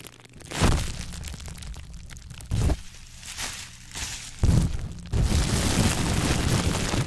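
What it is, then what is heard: Plastic bubble wrap being popped. A hand-sized ball of clear plastic bubble wrap, full of hollow air bubbles, is squeezed and popped with the fingertips. Sharp, bassy pops burst out over a steady crinkling rustle. Near the end the crinkling turns into a dense, continuous crackle.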